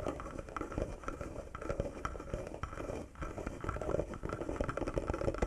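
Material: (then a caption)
Wood. Fingertips and short nails tap and scratch across the carved wooden surface of a small carved wooden box with a metal latch. The result is a dense, continuous patter of quick, dull woody knocks with a low thump and a mid-range tone, each dying away almost instantly, mixed with soft scratching. The activity dips briefly just past the three-second mark before picking up again, a little louder, to the end.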